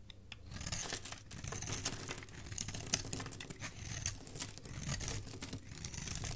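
A solid white Camay bar soap held in the hand is carved and scraped with a metal utility blade, sending curls of shavings falling. The clip is a steady run of crisp, dry scraping and tearing strokes at an irregular pace, with a bright, high hiss over a soft low rumble.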